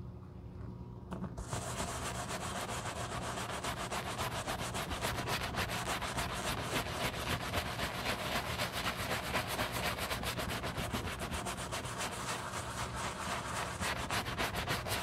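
A black leather shoe is held in a gloved hand while a wooden-handled brush scrubs its foamy upper. After a quiet first second, a steady, rapid scratchy brushing starts and continues in quick, fairly regular back-and-forth strokes with a bright, hissy texture.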